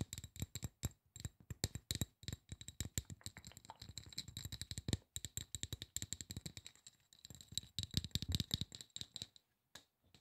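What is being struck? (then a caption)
Aluminum spray bottle. Fingertips tap rapidly on the bottom and side of a hollow silver aluminum spray bottle. The taps come in quick, uneven bursts, each a dry, short knock with a low thump and a bright, tinny metallic edge that dies away almost instantly. There is a brief pause near the end before a few final taps.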